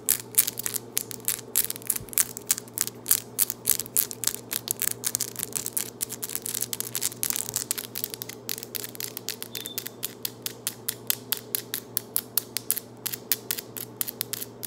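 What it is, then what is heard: Acrylic long nails tapped together. Very long, solid acrylic nails are clicked and tapped against each other by both hands in quick, aggressive nail-on-nail tapping. It makes a rapid, continuous stream of sharp, bright clicks with almost no ring. A faint steady low hum sits underneath.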